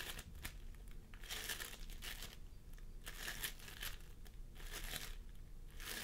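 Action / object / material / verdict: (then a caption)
scrape / floam sculpting foam with polystyrene beads / polystyrene beads / none. Fingertips of both hands press and squish a pastel mound of floam sculpting foam made of polystyrene beads on a wooden table. Bursts of bright, sticky crinkling and crackling come in repeated waves over a low, steady rumble.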